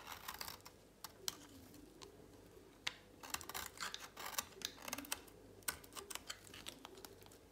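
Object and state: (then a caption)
Dry soap bar being shaved. A solid, dry pink soap bar held in a hand is shaved with a utility knife blade. The clip is a run of quiet, crisp, bright scraping clicks and crackles with no ring after each cut, broken by brief pauses.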